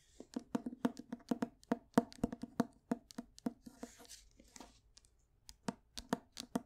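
Long nails tap and scratch the glossy cardboard cover and spine of a closed paperback copy of The Grapes of Wrath held in the hand. A quick, uneven run of dry, hollow taps has a low knocking body and bright clicky edges. Midway it gives way to a soft, brushing scratch, then a brief pause and a few more sharp taps.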